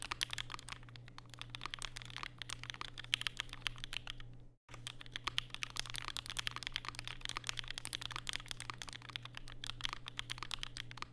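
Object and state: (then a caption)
Mechanical keyboard with plastic keycaps. Fingertips type continuously on a compact black mechanical keyboard with plastic keycaps and Durock POM switches, resting on a desk mat with a white wrist rest. The result is a rapid stream of short, bright, clacky key taps over a steady low hum, with a brief silent pause near the middle before the typing resumes.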